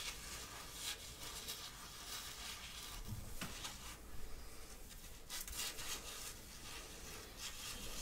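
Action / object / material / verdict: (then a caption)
scrape / cotton sweatshirt fabric / cotton / none. Fingernails scratch and rub the chest print of a worn grey printed cotton-like sweatshirt close to the microphone. The result is a steady, quiet, papery scratching hiss with a low rumble underneath and brief brighter swishes as the strokes speed up.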